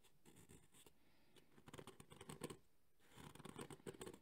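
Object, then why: Hard EVA foam carrying case with ribbed surface. Thumbnails scratch the ribbed, textured surface of a black JBL hard EVA speaker carrying case held in both hands. Quiet, rapid bursts of dry scratching come in two clusters, with a short lull near the middle. Each stroke has a low-mid body and a bright, hissy edge that stops almost instantly.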